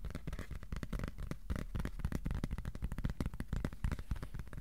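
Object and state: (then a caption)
Cardboard piece. Fingertips tap on a piece of cardboard in a dense stream of soft, dull, low thumps that die away almost instantly. The taps shift between slower and quicker bursts, close together and overlapping.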